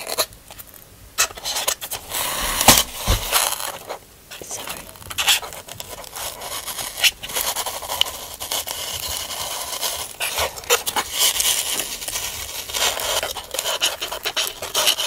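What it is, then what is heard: Styrofoam packaging block. Fingertips and nails scratch along the top edges of a large, white, stepped expanded-polystyrene packaging insert made of solid foam. The result is a dense, bright, crackly squeak in continuous scraping bursts with little low end, pausing briefly near the middle before resuming.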